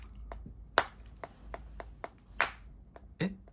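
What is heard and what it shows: A fist-sized, rough grey-white geode, solid and uncracked, is held in one palm and struck repeatedly with a small metal-headed hammer with a blue handle. About seven short, dry tapping knocks sound at an irregular pace, each a clicky strike centered around 680 Hz with a bright edge and almost no ring. The geode stays whole.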